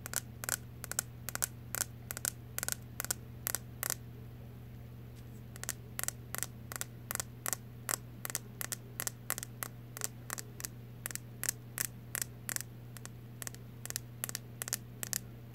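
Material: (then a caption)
Plastic. A blue plastic wide-tooth pick comb is held upright while its teeth are tapped and flicked with fingertips and nails, making about 46 short, sharp, bright clicks with almost no ring. The taps come in uneven bursts with a brief pause near the middle, over a steady low hum.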